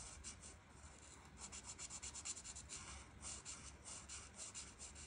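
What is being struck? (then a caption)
Felt-tip marker on a paper page. A felt marker tip rubs back and forth across a flat paper coloring page, filling in the background. The strokes make a quiet, bright, scratchy swish that comes in a steady rhythm of short, repeated passes.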